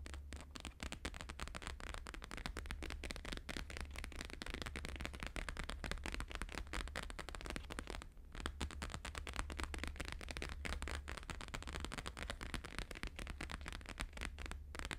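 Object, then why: Laminated paper sheet. Both hands fast-tap a thin laminated paper sheet with a holographic grid, lying flat, using fingertips and nails. The result is a dense, continuous stream of sharp, crackly clicks over a steady low hum, with a brief pause just after the 8-second mark.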